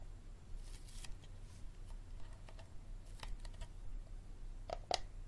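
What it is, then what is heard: Plastic water bottle. Fingertips and nails tap and scratch the ridged bottom and sides of a clear, hard, hollow plastic water bottle held in both hands above a wooden table, and the bottle is turned over by the end. Quiet scratchy rustles and light clicks sit over a steady low hum. Two sharper taps near the end give short, hollow, mid-pitched pings that die away almost at once.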